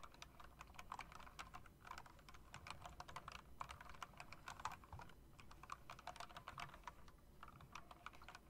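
A plastic and metal typewriter-style mechanical keyboard with RGB backlighting and round chrome-rimmed keycaps is tapped and typed on with long dark nails and fingertips. The result is a quick, steady stream of short, crisp clicks with a bright midrange tone and almost no ring, over a low background rumble.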